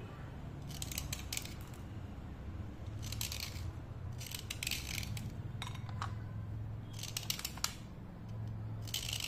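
A thin, solid slate pencil held by hand is scraped downward again and again with a utility knife blade, spraying off fine dust. Clusters of short, dry, bright scraping strokes come in bursts over a steady low hum, each stroke rasping briefly and fading almost at once.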